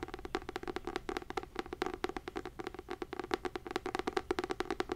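Fingernails tap and scratch a textured fabric-covered hardcover notebook with a gold label, producing a rapid run of about thirty-five dry, quick clicks. Each tap has a hollow mid tone around 375 Hz and a bright, crisp edge, and it dies away almost instantly.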